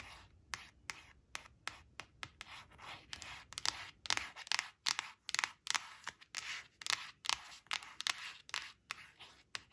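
Long blue nails scratch and trace along the red crayon shape on a thin, flat glossy cardstock flash card resting on a woven fabric. Quick, bright scratching strokes repeat in a steady run of short bursts with no ring after each stroke.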